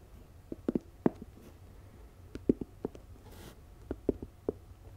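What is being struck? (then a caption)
Fabric-covered storage box. Long acrylic nails tap and scratch the lid and sides of a medium, hollow, rectangular storage box covered in floral-print fabric, with a lid, sitting beside the microphone. About twelve short, dull, muffled taps land at an irregular, unhurried pace over a faint fabric rustle, each dying away almost instantly. At the end, the box is lifted and turned toward the mic.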